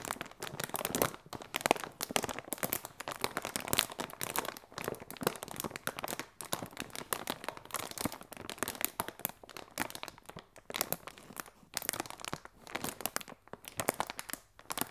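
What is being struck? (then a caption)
Polyethylene inflatable air cushion. A large, clear, hollow polyethylene inflatable air cushion, filled with air, is crinkled and pinched with fingertips and long red nails. Dense, dry plastic crinkling and crackling runs continuously through the clip, with many sharp, bright clicks and little low end.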